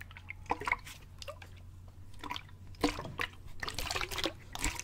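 A clear plastic sports bottle with a gray cap, hollow and partly filled with water, is held up and tilted back and forth so the water sloshes inside. Short, bright, wet slaps and drip-like gurgles come in uneven bursts over a faint, steady low hum.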